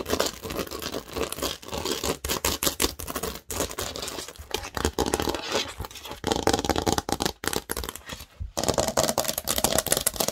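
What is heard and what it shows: Long nails scratch and tap across the studded surface of a large, thin green plastic Lego baseplate. The result is a dense, bright, crackly run of rapid scrapes and clicks with almost no ring, broken by a brief silence near 8.5 seconds before it resumes.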